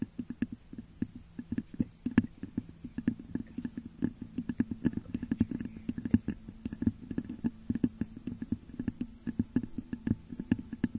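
Long nails scratch and tap rapidly on the top of a hollow, textured clear glass vase turned upside down over a microphone. Many quick, dry clicks and scrapes ride over a steady hollow, low resonant hum from inside the vase. Each tap dies away almost at once.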